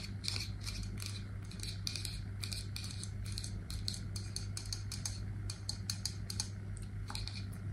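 An aluminium Batiste dry shampoo aerosol can, hollow with a plastic cap, is held in the hands and tapped and scratched with long nails. Quick, bright metallic taps and scratchy clicks come in irregular bursts throughout, over a steady low hum.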